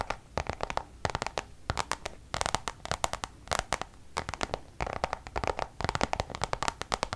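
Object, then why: Coated canvas zip pouch. Long nails scratch and tap the surface of a Louis Vuitton coated-canvas zip pouch held up by its face. Quick, dry scratching strokes and clicks come in rapid bursts, with bright, crisp edges and little ring after each stroke.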